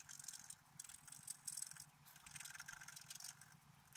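A wooden stylus scrapes across a flat, black-coated scratch-art paper card in quick, uneven strokes. The result is a quiet, bright, hissy scratching that comes in short bursts with brief pauses between them, with almost no low end.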